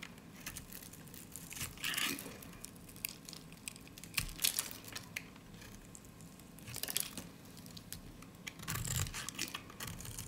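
A solid, dry lilac soap bar is held in the hand and shaved with a snap-off utility blade, curls peeling off its edge. Irregular bursts of crisp, bright scraping and crackling come in quick runs, with short quieter gaps between strokes.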